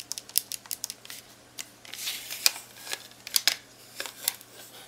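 A long-nailed fingertip presses and taps the plastic keys on the keypad of a black plastic graphing calculator. It makes a quick, uneven run of sharp, bright clicks, with a soft scratchy rubbing between them. Each click is dry and dies away almost at once, with no low end.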